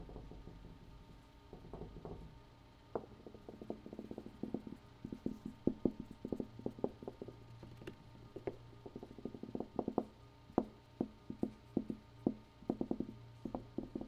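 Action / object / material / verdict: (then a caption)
tap / room wall / unknown / none. A room wall is tapped with a long run of quick, irregular taps that come in bursts. Each tap is a short, dull, low-mid knock that dies away almost at once, over a faint steady low hum.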